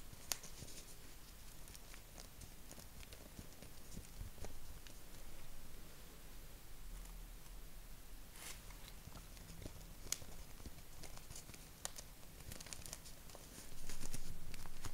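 A small, thin square of purple paper held in both hands is handled and crinkled with the fingertips. Quiet, steady rustling is broken by scattered sharp, bright crackles, over a constant low rumble, and the crinkling grows louder in the last second.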